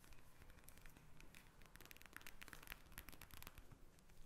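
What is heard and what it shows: A pink eye mask, a plastic pouch filled with gel beads lying flat on a glass table, is tapped and scratched with long red nails. The result is a quiet, steady stream of crisp clicks, crinkles and scratchy rustles over a low, soft rumble.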